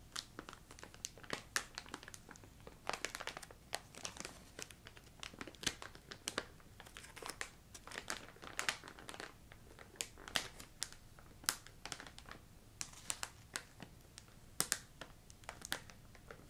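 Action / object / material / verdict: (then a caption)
scrape / plastic candy bag with wrapped candies / plastic / none. The top edge of a yellow plastic ginger candy bag, filled with wrapped candies, is crinkled and squeezed with nails and fingertips. The result is a steady stream of quiet, sharp, bright crinkles and crackles that stop dead, with sharper peaks standing out over a soft rustle and very little low end.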